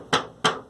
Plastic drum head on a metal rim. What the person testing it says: just hitting plastic. I'm getting a quick essence of a tone, and it's just immediately gone.